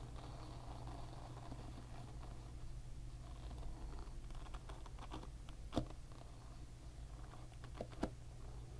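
Fingertips and nails scratch and flick the plastic pins of a plastic-pin hairbrush up close, giving soft, dry ticking and scratching over a steady low hum. Two sharper flicks stand out as brief, bright clicks near the end.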